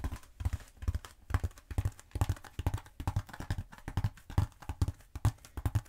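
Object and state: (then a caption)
Foam roller. Long pointed acrylic nails scratch and tap a long cylindrical black bead foam roller (EPP-style foam) held upright in a hand. The result is a rapid, uneven series of soft, dull, low thumps that die away almost at once, with brief scratchy rustles between them.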